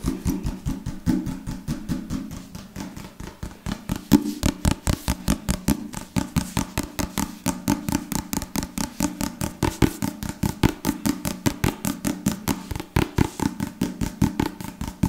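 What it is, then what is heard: Leather-covered book, solid. Fingertips tap and scratch quickly on the cover of a solid book bound in dark leather or leatherette, held tilted close to the mic. About 70 short, dry, evenly repeated taps land with a dull low-mid thump, a slight scratchy texture between them, and almost no ring.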